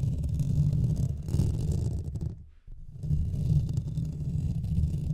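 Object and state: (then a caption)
Metal mesh microphone grille. Fingernails scratch the hollow metal mesh head of a Blue Yeti microphone from both sides, making a dense, muffled low rumble with almost nothing bright. The scraping runs steadily, drops to near silence for a moment in the middle, then resumes just as heavy.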